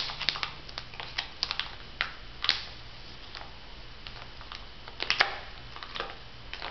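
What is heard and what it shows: A flat laminated foil-plastic sheet mask pouch with a pear print is held in both hands while fingertips and nails scratch, tap and crinkle its surface. The sound is a string of short, bright clicks and crackles over a low steady hum, with louder bursts near the start, around two and a half seconds, and just after five seconds.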